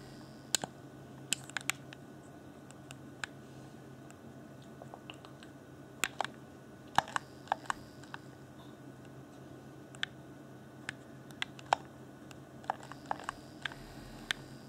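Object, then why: Plastic game controller. Fingertips tap the hollow, transparent pink-lit plastic shell of an Xbox One Afterglow controller and press its buttons. About 26 short, dry clicks and taps sound at irregular intervals, each dying away at once, over a faint steady low hum.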